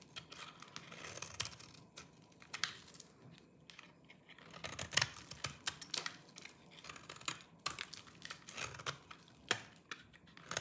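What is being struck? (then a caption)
Soap bar scraped with a small knife. A small orange-handled knife scrapes and shaves the surface of a solid, dry lime-green soap bar held in the fingers, and the shavings pile up below. The audio is a quiet, steady run of crisp, bright scraping and crunchy crackling strokes, with sharp, dry attacks that die away almost instantly.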